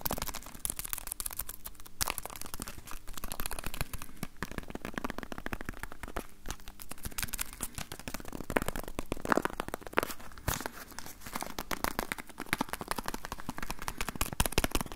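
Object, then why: Small cardboard box. A small, hollow, rectangular yellow cardboard box is held in the hands and tapped with the fingertips on its faces in front of a Tascam recorder. The result is a quick, continuous patter of soft, dry, papery taps with low thuds and crackly clicks that stop dead with no ring. The taps stay quiet throughout, with a few sharper accents.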